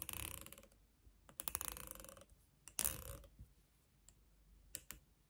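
Long nails strum and scratch across the teeth of a light, solid wooden comb with a long handle. Dry, bright rasping bursts come in three main runs, followed by a few sharp, isolated clicks near the end.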